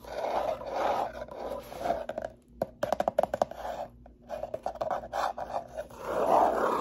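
Long manicured nails and fingertips scratch and tap a small, closed brown corrugated cardboard box with a slot, which is hollow and apparently empty; the box is then lifted and tilted. Dry, papery scratching rustles in waves, broken midway by a run of sharp, hollow taps. The clip ends with a louder, fuller scrape.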